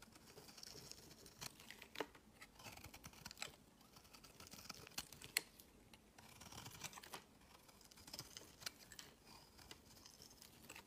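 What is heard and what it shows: A metal utility knife blade shaves a solid cream-white bar of soap, cutting off crumbly shavings. Quiet, dry, bright scraping and crackling come in bursts, with sharp little clicks as the blade catches and breaks off pieces.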